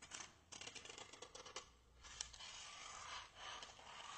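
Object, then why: Expanded polystyrene block. A small white block of solid expanded polystyrene (styrofoam), held in both hands, is scratched and rubbed with fingernails and fingertips. The result is a quiet run of quick, dry, bright scratches that give way to longer, hissing rubbing strokes. There is almost no low end.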